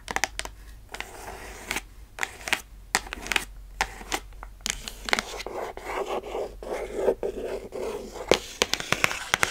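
Long nails scratch and scrape along the lid and sides of a hollow, closed red printed cardboard shoebox-style gift box with white stars as it is held and turned. Bright, dry scratching strokes come in quick bursts with short crisp peaks over a soft rasping bed, each stroke dying away almost at once.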